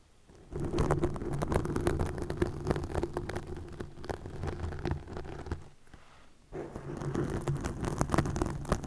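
Long nails scratch green plastic netting stretched over a microphone, producing dense, irregular crackling and rasping with a heavy low-end rumble. The scratching starts after a quiet half-second, dips briefly near the six-second mark, then resumes just as busily to the end.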